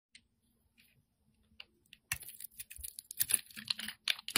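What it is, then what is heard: Bar of soap being shaved. A solid round white soap bar with pink glitter stripes, held in the hand, is shaved with a metal utility-knife blade. A few faint, scattered scrapes give way after about two seconds to dense, crisp, bright shaving and carving sounds with short, dry bursts. The sound stays quiet and high-pitched throughout, with very little low end.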